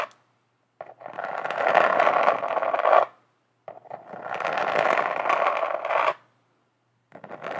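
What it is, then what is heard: Glitter-covered notebook. Long acrylic nail tips scratch and tap across the flat, glitter-coated cover of a notebook up close. There are two long, dense bursts of crackly, gritty scraping, each a few seconds long and centered in the midrange with bright edges, separated by silence, and a third burst begins at the end.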